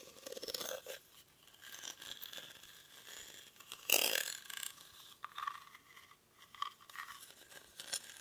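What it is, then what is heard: Woven rattan basket. Short fingernails scratch the weave of a hollow, cylindrical woven rattan/reed basket held in both hands. The result is a dry, crackly, bright scratching with almost no low end, rising and falling in uneven strokes, with a louder rasping burst near the middle.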